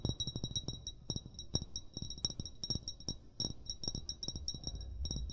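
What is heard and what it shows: An upright, hollow amber glass bottle, its fill level unseen, is tapped in a rapid, uneven series by short fingernails and fingertips. Each tap gives a brief dull low knock with a bright, high glassy clink that dies away almost at once.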